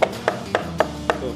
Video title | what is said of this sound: MODIF ITU GAK PERLU MAHAL! YANG PENTING PERHATIIN KEBUTUHAN DAN SAFETY NYA JUGA! | ini aja diketok berisik banget